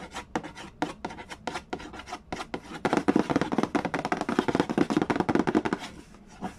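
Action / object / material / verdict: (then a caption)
scrape / cardboard game box with a glossy lid / cardboard / none. Fingertips rub, trace and scratch the glossy lid of a rectangular, hollow cardboard Mastermind game box. Quick, dry scratchy strokes come in sparse bursts at first, then grow denser and louder from about three seconds before thinning out near the end.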